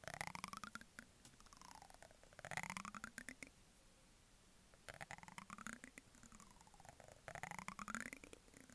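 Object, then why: Plastic cosmetic jar and lid, ridged plastic brush handle. A ridged brush handle is rubbed and scratched against the rim of a medium white plastic jar with a green plastic lid. It makes quick ratcheting clicks with sweeping tones that glide up and down, in bursts broken by a quiet pause in the middle.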